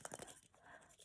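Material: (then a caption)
Plastic. A plastic Easter egg with a stick of gum inside is shaken, giving a quick series of light rattling clicks, four distinct taps close together at the start. The clicks then fade into quiet, faint noise.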